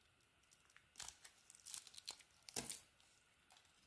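A utility knife blade carves and scrapes the mint green coating off a solid orange soap bar held in the hand. Quiet, bright, crinkly scrapes and short crunching strokes come in uneven bursts, with the strongest cuts near the middle and end of the clip.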